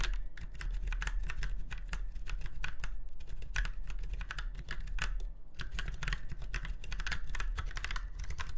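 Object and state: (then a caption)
Mechanical keyboard being typed on. Fingertips of both hands type steadily on a retro, typewriter-style mechanical keyboard with round white keycaps set in chrome-look rings on a silver frame. Rapid, bright key clicks come in a continuous stream, with brief pauses, over a steady low hum throughout.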